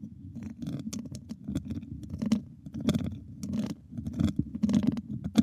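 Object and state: Metal microphone grille.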